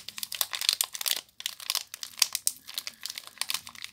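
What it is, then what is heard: Plastic-wrapped soap bar. Fingers with long nails crinkle and squeeze the clear plastic wrap around a small soap bar, then cup it in the hands at the end. A dense stream of sharp, bright crackles and rustles fills the clip, with a brief pause just past the first second before the crinkling resumes.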